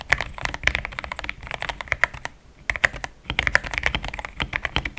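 Fingertips type fast on a compact pink-cased mechanical keyboard fitted with thick cream XDA plastic keycaps. The result is a rapid run of short, crisp clacks with a bright tone near 1.9 kHz and almost no ring, pausing briefly around the three-second mark before resuming. The keystrokes sound solid.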